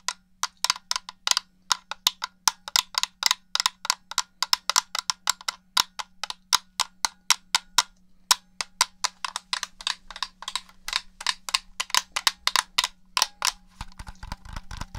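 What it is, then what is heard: Plastic game controller. Fingertips and nails tap a black hollow plastic Xbox-style gamepad with colored face buttons and press its buttons, the controller held beside a foam binaural dummy head. A rapid, irregular run of sharp, dry, bright clicks and taps with a woody tone around 900 Hz cuts off almost instantly. A faint steady low hum sits underneath, with a brief low rumble near the end.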